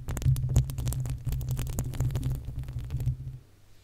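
Long acrylic nails from both hands scratch the uncovered, hollow metal mesh grille of a desktop condenser microphone. The result is a dense, irregular run of quick scratchy ticks over a heavy low rumble near 125 Hz. The scratching stops just before the end, leaving a faint low hum.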